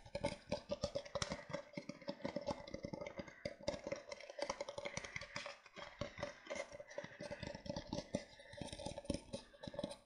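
Fingertips and nails tap and scratch the base and sides of an empty, hollow disposable paper cup with a printed pattern, held upside down in both hands. Quick, dry clicks and scratches fall in a steady, dense patter, with a hollow resonant tone near 590 Hz and papery rasps brightening the top end. Each tap dies away almost instantly.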